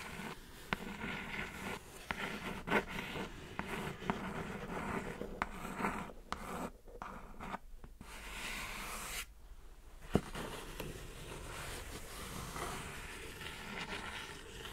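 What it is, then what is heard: Cardboard mailer box. Long acrylic nails scratch and tap the top of a flat, hollow brown kraft cardboard Glossybox mailer box lying on a black surface. Dry, papery scratching and rubbing runs throughout, broken by sharp, short taps and a few brief silent pauses.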